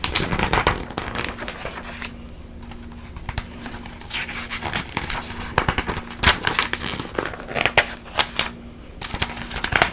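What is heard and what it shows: An open glossy paper magazine held in front of the body has its pages fanned and flipped by hand with long nails. Crisp, bright page turns and papery crinkles come in uneven bursts with quieter rustling between them, over a faint low steady hum.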